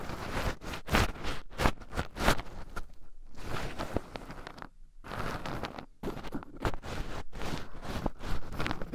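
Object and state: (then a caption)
Raw pine nuts stirred in a wooden bowl. Two wooden chopsticks stir and poke into a small wooden bowl heaped full of raw shelled pine nuts, with two black microphones buried in the pile so the nuts also rub against them. Dense rustling, scratching and crunchy clicking come in bursts of stirring, with a brief quiet pause about halfway through before the shuffling resumes.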